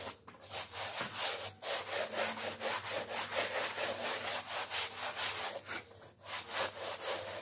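A hand scrubs a small, wet, flat-woven kilim rug, likely wool, with a blue stiff-bristle brush in quick back-and-forth strokes while the other hand holds it down on a plastic sheet. The result is a steady, bright, rasping swish that rises and falls with each stroke, plus a faint low hum underneath.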